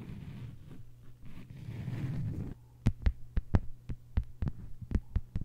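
Long white-polished nails on both hands tap a thin, solid, flat lime-green plastic cutting mat lying on a table. A soft, low rumbling rustle fills the first half, then a run of sharp, quick, dry clicks follows over a steady low hum. Each tap dies away almost instantly.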